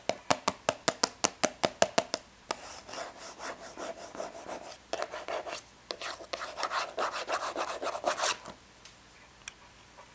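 Long red nails work on the front of a small, hollow, rectangular printed cardboard tea box with embossed foil. A quick, even run of eleven crisp, dry taps gives way to rapid scratching across the surface: bright, rasping strokes in uneven bursts that thin out to a few faint scrapes at the end.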